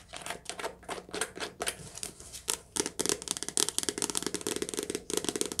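Fingertips tap quickly on a soft-cover paperback book, recorded lo-fi on a phone or headphones in a cottage while it rains. The result is a rapid run of dry, crisp, papery taps with a bright, slightly crinkly texture that stop almost instantly, over faint background noise.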